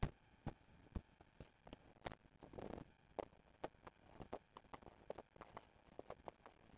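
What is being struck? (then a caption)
Small cardboard box. Fingertips and short nails tap and scratch the front face of a small, hollow, rectangular silver-printed cardboard box of Neuskin cleansing foam packaging, lying on a wooden table with its contents not visible. Quiet, dry, quickly damped taps come in an irregular stream, mostly low and hollow-sounding. A brief scratchy rustle comes a little before the midpoint.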